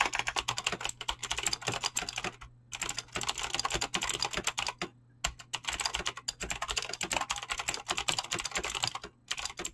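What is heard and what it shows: A full-size mechanical keyboard with Razer clicky green switches and dyed PBT plastic keycaps, resting on a desk, is typed fast with fingertips and short nails. A rapid, continuous stream of bright, sharp key clicks comes in bursts, broken by a few brief pauses. A faint steady low hum sits underneath.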